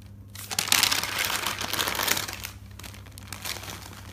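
Nails and fingertips lift and turn the pages of a thick paper notebook, producing a bright, crackling paper rustle. The crinkling swells between about 0.6 and 2.2 seconds, then settles into softer page sounds over a low steady hum.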